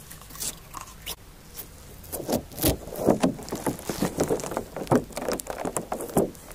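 A small handful of translucent green slime with glitter flakes, soft and solid, is held between the fingertips of both hands and stretched and pressed above a handheld recorder. Faint sticky ticks in the first two seconds give way to a dense run of wet, squishy crackles and soft pops, mostly low-mid with short bright clicks.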